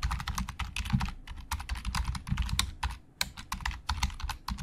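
Fingertips type quickly on a black plastic Logitech keyboard with hollow plastic keys, producing a dense run of short, dry clicks and clacks. Each keystroke has a bright click over a low, hollow thump, with a brief lull a little past three seconds before the typing picks up again.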